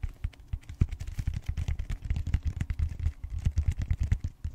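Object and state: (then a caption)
Styrofoam roller end. Fingertips and short nails scratch and tap the flat round end of a purple styrofoam roller with bead-textured foam. A rapid, dense run of short, dull, low taps with soft scratching, each one dying away almost instantly with no ring.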